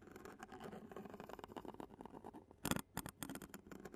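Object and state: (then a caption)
Metal mesh microphone grille. A clear plastic spoon taps and scratches the black metal mesh grille of a handheld Zoom recorder held in a hand. It makes a close, dense patter of quick taps and scraping, with a louder burst of scratching near the end.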